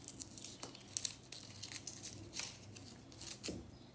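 Long nails scratch and flick at a solid pink-white compressed powder bath bomb, which shrinks as it crumbles. The result is a quiet run of bright, dry scratching and crumbly crackles with short, sharp transients and almost no ring. A few louder, lower thuds stand out near the middle and toward the end.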